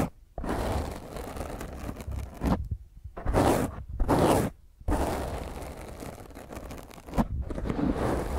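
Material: Foam.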